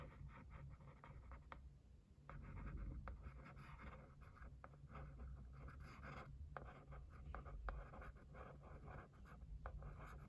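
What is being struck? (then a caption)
Cardboard gift box tapped and scratched with a thin wooden stick. A thin wooden stick scratches and taps across the lid of a white printed cardboard gift box. Sharp, dry taps are scattered over a steady papery scratching, with a low rumble underneath throughout.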